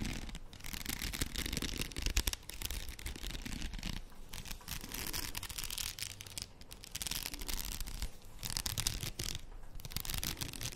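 Long nails scratch across the plastic beads of a faux pearl padded headband held up in both hands. The sound is a steady, dense scratching and clicking, bright and crisp, over a soft low rumble, with a few brief pauses between passes.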